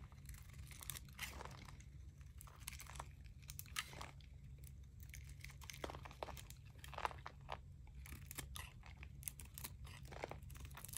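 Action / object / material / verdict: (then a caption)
scrape / bar of soap shaved with a blade / soap / none. A metal utility blade shaves crunchy flakes off a palm-sized, solid white bar of dry, crumbly painted Palmolive soap held in both hands. The clip is a quiet stretch of repeated short, dry scraping crunches and crumbly crackles with bright tearing edges, over a steady low hum.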